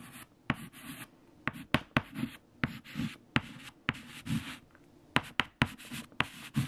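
A hand writes with a white stick of chalk on a large flat black chalkboard covered in multiplication tables, scraping the chalk across the surface. Twelve sharp, clicking taps of the chalk striking the board stand out between soft, gritty, bright scratching strokes in a quiet, close space.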